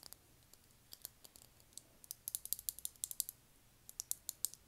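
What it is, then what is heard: Lip gloss tube tapped with fingernails. A small rectangular clear lip gloss tube with thick walls, filled with copper gloss and topped with a silver cap, is held in one hand and tapped with long manicured nails. The result is a quiet, irregular series of sharp, bright clicks that speed up into quicker bursts, each dying away almost instantly with no ring or low-end body.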